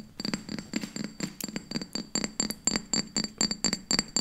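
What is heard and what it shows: A glass object is tapped quickly, giving a fast, slightly uneven run of short, bright clinks at about four per second. Each tap cuts off almost at once, leaving a faint high ringing tone that carries over a soft low thud.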